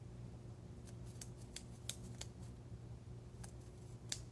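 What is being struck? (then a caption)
Metal ceremonial knife blade. A blunt metal ceremonial knife (athame), made for ritual use rather than cutting, is tapped and scratched as an ASMR trigger. Several light, bright metallic ticks ring out briefly over soft scratching and a steady low hum.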